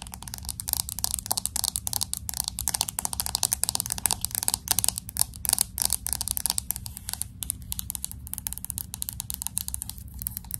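Long acrylic nails tap and scratch the glass back and aluminum edges of a solid, hand-sized pink smartphone. The result is a rapid, dense stream of bright, dry clicks and scratchy ticks with no ring, over a faint low hum.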